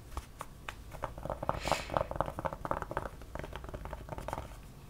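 Long, dark-painted nails and fingertips scratch and tap a black Harley-Davidson trucker cap with an embroidered front panel while it is worn on the head. The result is a quick, uneven run of soft, dry fabric taps and scratches with a mid-range papery tone, and a brief brighter hiss of scraping near the middle.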